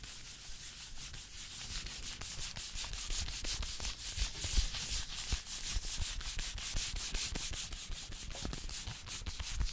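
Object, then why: Small cardboard box of playing cards. A small printed cardboard box of UNO Zelda playing cards, closed and apparently full of cards, is held in the hand and rubbed and tapped with long painted fingernails and fingertips close to the mic. Fast, dense scratchy rubbing with a bright, hissy edge mixes with quick dull taps and low thumps in an uneven rhythm. The sound stays steady throughout, with short flicks and taps that die away almost at once.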